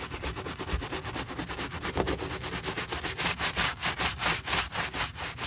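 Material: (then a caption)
Leather. A wooden-handled bristle brush scrubs the foamy upper of a hollow brown leather boot to clean off dust. It makes a steady run of quick, bright, scratchy strokes with a soft hiss, growing a little louder and more pronounced toward the end.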